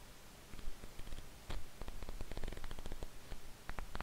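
A small paperback manga volume with thin paper pages is held in both hands above a desk while the fingers and thumb riffle and flick quickly through the pages. Soft, quiet papery rustling is broken by a rapid run of short, crisp flicks with bright edges that die away almost instantly.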